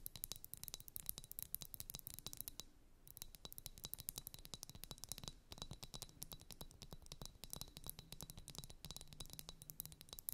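Long nails tap and scratch a pair of blue, liquid-filled glass ice-globe wands. Rapid, bright clicks and scratchy strokes run almost continuously at a quiet level, with a short lull around the three-second mark and a faint low hum underneath.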